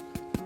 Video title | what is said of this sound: A Taste of History (S6E2): Winning the War With Bread | And the number 1 key for telling when bread is done is as you're tapping it, it will sound hollow.